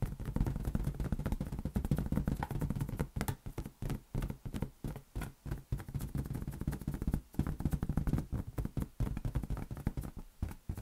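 A large, hollow, air-filled green latex balloon is held in one hand and tapped rapidly with the fingertips. It makes a dense stream of soft, low, drum-like thumps around 145 Hz that die away almost instantly, with brief gaps between bursts of tapping.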